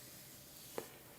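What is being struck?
Nothing is struck.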